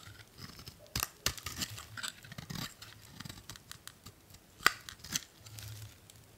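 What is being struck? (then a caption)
Bar of soap cut with a metal blade. A solid blue bar of soap held in the hand is scraped and cut with a metal utility blade, curling off shavings. Dry, bright scratching and crisp cuts come in short bursts, with sharp snaps standing out at about 1 s, 1.3 s, 4.7 s and 5.1 s over a quiet background.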